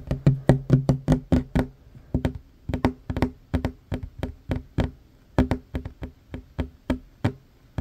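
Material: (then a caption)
Wood. Short fingernails of one hand tap quickly on a worn wooden tabletop, a large solid surface, making about 29 dry, clicky knocks in uneven bursts. Each tap has a low, woody thump around 133 Hz with a bright click on top and dies away almost at once.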